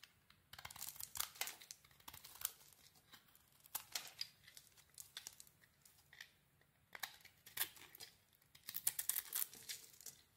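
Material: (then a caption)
Soap. A small metal blade shaves a solid rectangular mint green bar soap embossed "BODY BAR", cutting through to its cream-colored inside. Quiet, dry, bright scraping and crinkling strokes come in bursts, with short pauses between them. Each one stops instantly with no ring.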